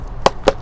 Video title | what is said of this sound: How to grow luffa for sponges. How Luffa Sponges Are Made. Loofah Gourd | the skin is all hard and it's all brittle sound like a drum